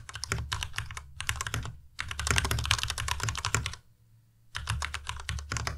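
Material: Plastic.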